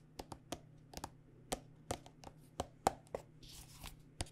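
Long nails tap along a hollow, partly full white plastic body butter squeeze tube with a red cap. About 15 short, dry, irregular clicks with a hollow midrange tone ring out over a faint low hum, each dying away almost instantly at a quiet level.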